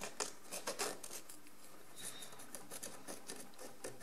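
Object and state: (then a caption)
Encrusted ceramic jar. A wooden stick held in the fingers scrapes a pale crusty deposit off a large ribbed ceramic jar lying on its side, using rapid strokes. Quiet, dry, gritty scratches come in short bursts with bright, hissy edges over a faint low background hum.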